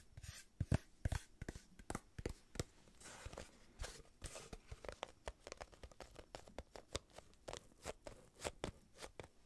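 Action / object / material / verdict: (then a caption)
tap / small kraft cardboard box / cardboard / none. Long nails tap and scratch a small, hollow, brown kraft cardboard box held up in both hands. A quick, uneven string of short, dry taps with dull low thumps mixes with brief crackly scratches that carry a bright edge. The sound is quiet and close, and each hit dies away almost instantly.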